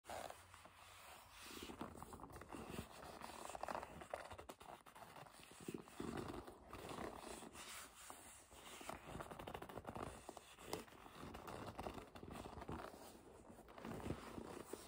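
Hands hold a hollow, medium black leather bag while long pointed nails and fingertips grip, rub and squeeze its surface. A continuous, fairly quiet stream of dense leather creaks, rubbing and scratchy scrapes rises and falls, with a midrange tone and brief bright edges.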